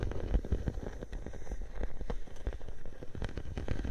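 A clear plastic bubble wrap sheet draped over a microphone is scratched and pressed at its sides by fingers with long nails. The result is a steady, muffled stream of close, low crackles and soft taps, with a few sharper clicks standing out.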